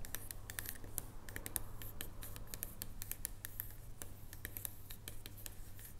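Long nails tap and scratch across the top of a solid dark chocolate bar resting on a wooden table. Quick, irregular dry clicks with bright, crisp edges rise over a steady low hum. The clicks stop short with no ring.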